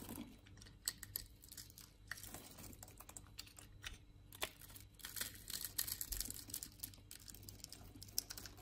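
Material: Soap.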